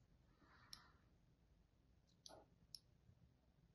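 A thin blade tip scores lines across the face of a solid, palm-sized white embossed bar of soap. Very quietly, a soft scraping swish is followed by three sharp, bright clicks that stop instantly, against a faint low background hiss.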